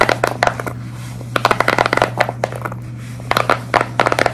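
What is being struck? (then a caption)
Silicone pop-it fidget toy. A large square tie-dye silicone pop-it fidget toy with hollow, flexible bubbles is scratched, tapped and squeeze-gripped by long red nails. The result is clusters of quick, dry clicking taps and short scratchy bursts with bright edges, separated by brief pauses. A steady low hum runs underneath.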